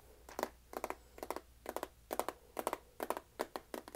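A medium clear plastic tub with a lid and a paper label, filled with cat treats, is held in both hands and tapped on its sides with the fingernails. Nine quick bursts of two or three light, dry clicks repeat steadily, each dying out almost instantly, with a faint hollow tone around 630 Hz. The treats inside add a slight rattle against a very quiet background.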